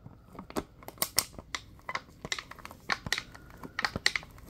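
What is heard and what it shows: Latex-gloved hands squeeze and crinkle a clear, thin, hollow plastic water bottle with a few small yellow bits inside. About eleven sharp, bright crackles and pops come in an irregular, fast series, each dying away almost instantly, with faint crinkling between them.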